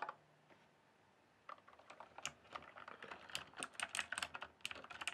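A full-size RGB-backlit plastic mechanical computer keyboard, with hollow keys on a solid base, is typed and tapped with fingertips. A single click is followed by a brief silence, then a quick, uneven run of sharp, bright, clacky keystrokes that stop almost instantly, with little low-end body.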